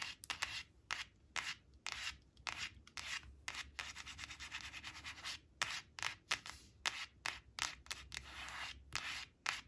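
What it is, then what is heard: Laminated cardboard card scratched by nails. Long acrylic nails quickly scratch and rub across the glossy face of a thin, flat laminated cardboard flash card printed with balloons, resting on a woven cloth. The result is bright, dry, rasping scrapes in quick, uneven bursts, with denser stretches of continuous rubbing between the sharper strokes.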